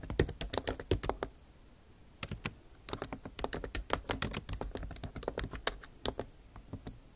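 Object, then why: Laptop keyboard, plastic keycaps in a metal body. Long nail tips type on a backlit MacBook Pro keyboard with plastic keycaps in an aluminum body, producing rapid, sharp, bright clicking taps. A quick burst of keystrokes is followed by a short pause, then a longer, steadier run of typing with crisp, quickly fading clicks.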